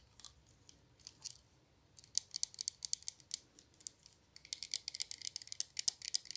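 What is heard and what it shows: Long nails tap the glass body and black cap of a small glass perfume bottle, partly full of pink liquid. Quiet, bright, sharp clicks come in an uneven rhythm, sparse at first and then quicker and denser, each one dying away almost instantly.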